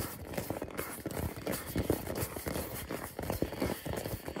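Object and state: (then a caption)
Hollow rubber ball. A hand-sized hollow purple rubber or plastic ball, held in both hands, is tapped quickly with fingertips and nails. A steady run of soft, hollow knocks sounds with a low-mid body around 300 Hz, each tap dying away almost at once.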